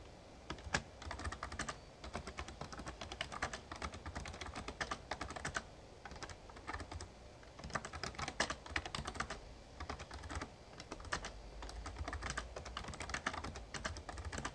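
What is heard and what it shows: Fingertips type steadily on the plastic keys of a full-size, backlit Razer Ornata Chroma membrane gaming keyboard with a hollow case. Quick, crisp clicky taps land in dense bursts, each with a very short decay over a soft low thump. There is a brief lull midway before the fast typing resumes.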